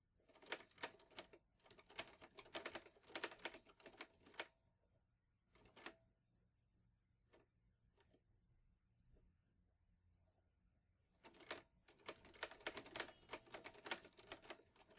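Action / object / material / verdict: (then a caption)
tap / metal manual portable typewriter / metal / none. Fingertips type on the keys of a green metal portable Olivetti Lettera 22 manual typewriter, producing quick runs of sharp, bright clacks with almost no low end. A dense burst of typing gives way to a few scattered single strikes and a quiet pause, then the rapid clacking resumes through the end.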